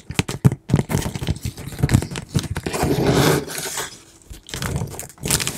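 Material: Cardboard.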